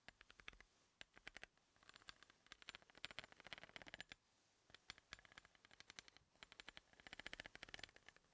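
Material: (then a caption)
Steel. A wooden pencil tip taps and scratches along the threads of a large, solid, threaded steel bolt resting on a table. Bursts of quick, dry, bright clicks come in uneven runs with brief pauses, each tick dying away almost instantly. Little low end is heard, with the sound centered around 2.4 kHz.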